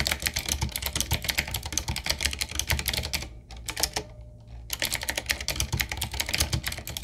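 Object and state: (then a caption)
Retro typewriter-style mechanical keyboard with round plastic keycaps. Fingertips type on a retro typewriter-style mechanical keyboard with round black plastic keycaps on a wood-trimmed frame, resting on a wooden desk. Rapid, bright, clacky keystrokes run steadily with a low thump under each one. A brief pause comes around the middle before the typing resumes.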